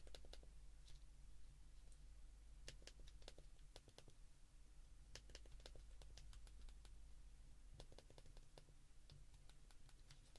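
Thumbs repeatedly press the rubber and plastic number keys of a white plastic flip mobile phone held open in both hands. The result is a quiet series of small, sharp, bright clicks with very short decay, scattered irregularly over a steady low hum.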